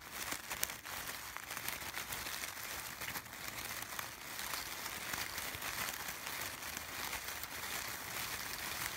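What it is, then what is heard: Artificial fabric sunflowers being scratched. A bunch of artificial yellow sunflowers with fabric petals and textured brown centers is rubbed and scratched across the petals with fingertips and short nails. The result is a dense, continuous, bright crinkling and scratching with almost no low end, holding a fairly steady level throughout.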